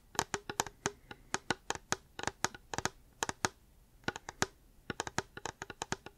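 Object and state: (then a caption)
Hard plastic water bottle. Fingers tap a reusable hard plastic water bottle in quick, irregular bursts, with a short pause midway. Each tap is a crisp, dry click with a bright edge and a faint hollow note near 900 Hz that dies away almost at once.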